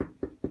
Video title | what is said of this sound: Sourdough Bread Part 3 | you tap the bottom. You will hear the hollow sound.